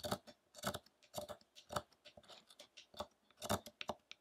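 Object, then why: Carved wooden statue. A small hand-held chisel repeatedly cuts and scrapes at the carving area of a large, solid, light-wood Buddha statue that still sits on its rough wooden block. The result is a series of short, crisp, dry clicks and scraping strokes with a woody mid-range tone and bright edges, each dying away almost instantly.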